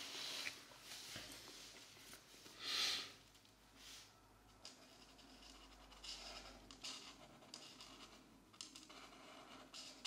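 A black-bodied marker colors a mandala in small strokes on a thin page of an open paper coloring book resting on a desk mat. Its tip rubs and scratches across the paper in a quiet, bright, hissy texture, with one louder swish near the three-second mark and soft scratchy strokes continuing throughout.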